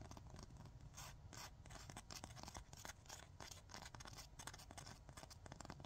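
Long fingernails scratch and tap quickly on a long, thin, solid 100/180 grit emery nail file, making a dense run of short, dry, rasping strokes with brief bright hiss. A steady low rumble sits underneath throughout, and the overall level stays quiet.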